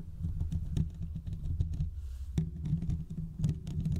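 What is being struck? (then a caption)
Metal mesh microphone grille. Short fingertip nails scratch the hollow metal mesh grille of a large condenser microphone, producing a dense, booming low rumble of rapid scrapes and taps with faint bright ticks on top. The scratching eases briefly around the two-second mark, then resumes with a sharp scrape and continues in quick, irregular bursts.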